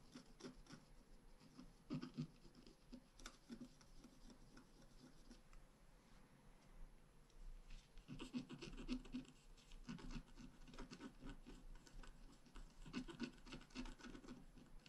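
A wooden stylus scratches pink blossoms into the top of a flat, black-coated scratch art paper card held down with one hand. The result is a steady stream of quiet, dry scratching and rubbing strokes, some briefer and some drawn out, with small bursts of louder, grainier scraping.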